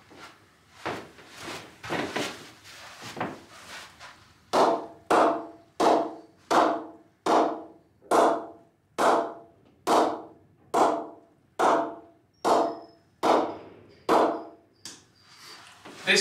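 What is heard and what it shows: A ball is tapped 18 times against a Kippax Sancta Grail #1 cricket bat, a full-profile, all-sapwood English willow bat weighing 2.9 lb with no scooping. The first few taps are softer, then a steady run of sharp, woody knocks follows, each with a short ring around 680 Hz that fades quickly.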